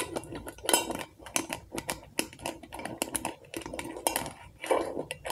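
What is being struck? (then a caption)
Glass candle jar tapped with fingernails. Long acrylic nails tap and scratch the glass sides of a medium glass jar candle filled with solid wax, with a label and a metal lid. Quick, bright clicks ring out over soft scraping, with brief rings and small gaps between the bursts.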